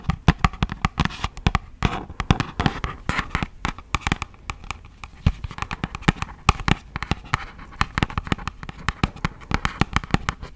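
Long acrylic nails tap rapidly and irregularly on a hollow, thin, yellow printed cardboard box for beeswax wraps. The result is a dense stream of sharp, dry clicks with a dull, low hollow thump and almost no ring, spread steadily across the whole clip.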